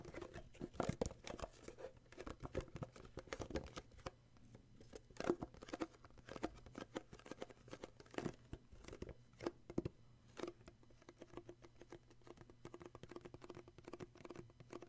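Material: Cardboard.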